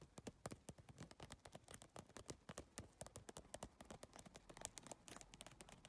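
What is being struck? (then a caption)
Handbag covered in triangular PVC plastic tiles. Long nails tap fast on a holographic geometric handbag made of triangular iridescent PVC tiles, then fingertips work at the tile edges. A dense, uneven stream of short, dry plastic clicks with bright high transients fades almost instantly, with no ringing.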